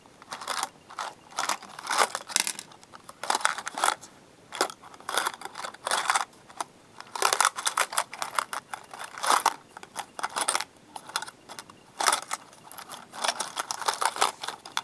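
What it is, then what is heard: Plastic box of paper clips, partly full. A small transparent plastic cube box, about half full of colorful plastic-coated metal paper clips, is held in both hands with the fingertips and shaken and tapped so the clips rattle inside. Irregular bursts of dry, bright clicking and rattling come and go with short pauses, with almost no low end and no ringing.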